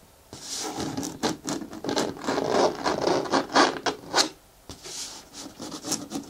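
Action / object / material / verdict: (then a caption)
scrape / hard plastic bin with lid / plastic / none. Long nails quickly scratch the side wall of a green, hollow, hard plastic bin with a handle and lid. The result is a run of fast, dry, rasping strokes with a hollow midrange body and a bright hiss on top. After a short pause the scratching resumes more softly.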